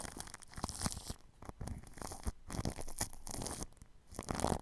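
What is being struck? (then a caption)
Plastic cling film wrapped over a microphone, brushed with bristles. A red-handled paintbrush sweeps and scratches its bristles across clear plastic cling film wrapped over a spherical microphone with a metal mesh grille, working at the grille edge. The result is close, crinkly brushing in uneven bursts, with bright scratchy crackle over a heavy low rumble.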